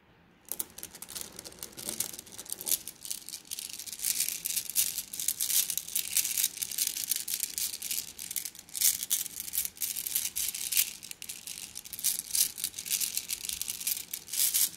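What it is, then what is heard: Glass gems in a plastic mesh bag. Fingers press and squeeze a plastic mesh bag of flat blue glass gems, making the gems grind and clink together. The result is a steady, dense stream of bright, high-pitched clicking and crunching rattles that starts after a brief silence and continues throughout, with short, dry hits that barely ring.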